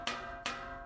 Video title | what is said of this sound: 330회. 링컨 에비에이터 차 뽑자 마자 다 뜯어봤습니다. 왜? 전체 방진, 방음 작업 때문 그렇죠. 순정 상태의 방진 시공 상태는 어떤지 한번 보세요. | 이렇게 완전 깡통 두드리는 소리가 나오고